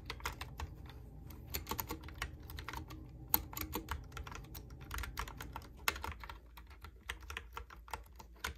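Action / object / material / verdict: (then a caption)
tap / plastic computer keyboard / plastic / none. Fingertips type and tap on a Logitech keyboard with round pink and white plastic keycaps. A steady stream of short, bright plastic clicks rides over a soft low rumble, with a couple of sharper taps standing out. Each click dies away almost instantly, and the typing grows a little quieter toward the end.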